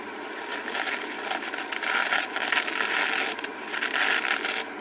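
Long acrylic nails scratch and rub the glittery surface of a small, flat, blue-purple glitter-coated craft foam sheet held in both hands. The result is a continuous bright, dry scratching rustle that swells and fades in uneven strokes, with almost no low end.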